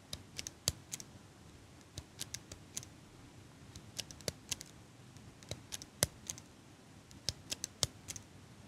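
Long pink nails tap and click on the metal frame of a small metal eyelash curler held in one hand. The clip is a quiet, irregular run of short, bright, sharp clicks that die out almost at once, with some louder taps standing out over a soft background hiss.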